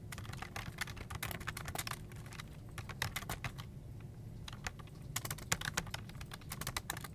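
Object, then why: Plastic computer keyboard. Fingertips of both hands type continuously on a full-size black plastic desktop keyboard with a hollow plastic body and keycaps. The result is a dense stream of short, bright key clicks over a low, hollow rumble. Faint vehicle noise sits in the background.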